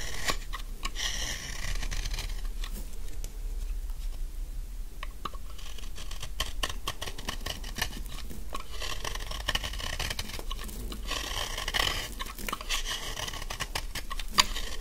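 A utility knife blade shaves curls and chunks from a large, solid, dry pink bar of soap held in the hand. A steady run of crisp, dry scraping and crunching fills the clip, with quick bright ticks of the blade scattered throughout over a low background rumble.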